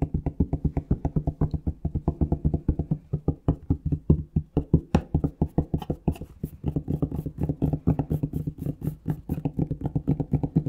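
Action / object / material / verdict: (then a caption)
tap / plastic shower gel bottle / plastic / none. Fingertips tap rapidly on a plastic Palmolive shower gel bottle, producing a steady stream of short, dry, hollow knocks with a low pitched body. Each tap dies away almost instantly, and from about halfway through some taps carry a slightly brighter, clickier edge.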